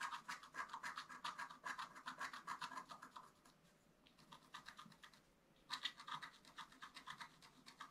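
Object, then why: Black-coated scratch art paper and wooden stylus. A wooden stylus scratches a flat, black-coated scratch art paper card in rapid, short strokes, making a dry, bright rasping sound. The strokes run steadily, thin out into a quieter stretch around the middle, then resume strongly for the final seconds.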